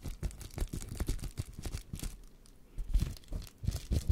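A sheet of air-filled plastic bubble wrap is held close to the microphone and crinkled and scratched with fingers and nails. It makes a dense run of soft, dry crackles and scratchy rustles, heavy in the low end. The sound pauses briefly midway before picking up again.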